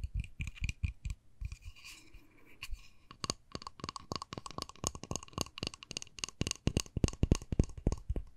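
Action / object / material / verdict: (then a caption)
tap / small plastic case / plastic / none. Long nails tap and scratch a small, hollow, rectangular white plastic case with a pink front panel, held in one hand. Quick, irregular clicky taps with a dull, hollow low thump alternate with brief scratchy passages, then turn into a denser, faster run of sharp, bright ticks that die away almost instantly.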